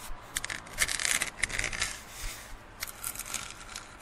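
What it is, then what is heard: Plastic cup scratched. A printed, hollow plastic drinking cup is held tilted over a plastic lid while fingertips and nails rub and scratch its side. The result is a series of quiet, dry, bright scraping and rubbing bursts with very little low end and no ringing.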